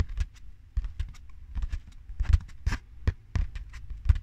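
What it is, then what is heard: Hollow cardboard tube. A long, hollow, empty brown cardboard tube is held in both hands in front of a microphone and tapped along its length with the fingertips and nails. Each tap gives a deep, hollow thump with a faint bright click from the nails, dying away almost at once, in an irregular, soft pattering rhythm.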